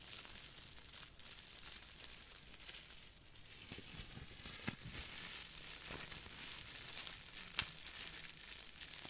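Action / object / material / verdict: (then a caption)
scrape / crumpled plastic bubble wrap / plastic / none. Fingertips squeeze and crinkle a small crumpled piece of clear plastic bubble wrap, making a steady, bright, hissing crinkle throughout. Sharper crackles stand out now and then, with the loudest snap near the end.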